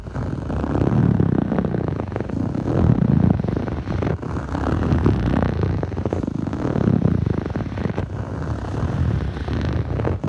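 Fingertips of both hands scratch the surface of a blue textured foam yoga mat, a soft solid sheet. The result is a steady, muffled, low-pitched scratching that swells and eases in waves, with almost no brightness and no ringing.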